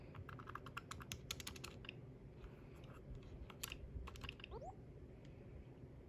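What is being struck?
Plastic handheld game console with glass screen.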